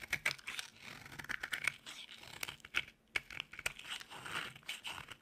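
A dry, solid white oval bar of soap held in the palm is carved by scraping with a metal utility blade, with the shavings piling up on the table. Crisp, dry scraping and crunching strokes come in quick, uneven bursts, bright and papery with almost no low end.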